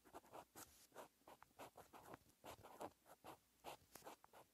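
A green ballpoint-style pen held in the fingers writes handwritten letters on a lined white paper page in a bound notebook. The result is a quiet run of thirteen short, dry scratching strokes, centered in the midrange around 800 Hz, with brief bursts and small pauses between them.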